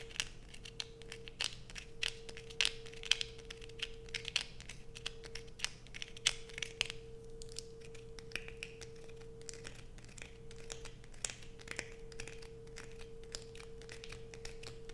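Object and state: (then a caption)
Bar of soap scratched with fingernails. Long acrylic nails scratch a solid blue bar of soap held in the hands, making dense, bright scratching and crisp clicks with quick, sharp peaks. A steady low hum and a faint constant tone run underneath throughout.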